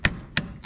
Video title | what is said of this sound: How to repair a Ford F350 front bearing and seals. | you hear it's solid, it's hitting the seat